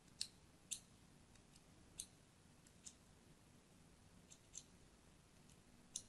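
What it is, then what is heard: Soap bar being scored with a blade. A thin blade scores crosshatch lines into the surface of a solid, palm-sized pink-and-white striped soap bar held in the hand. Quiet, crisp, bright scratching clicks come at irregular intervals, each cut short with almost no ring, over a faint low background hum.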